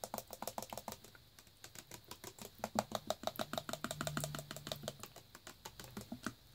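A full plastic Naked Green Machine juice bottle, held in the hand, is tapped with fingertips and nails on its bare plastic bottom section and on its label. The result is a fast, uneven run of short, dry, hollow clicks and taps, each with a bright edge and almost no ring. A faint low hum sits underneath through the middle of the clip.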